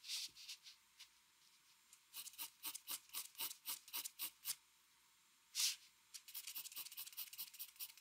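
A metal mechanical pencil tip makes short shading strokes on a flat white drawing paper sheet resting on a desk. Quick, bright, papery scratches come in bursts, separated by brief pauses and one louder stroke. The sound is thin and high, with no low end.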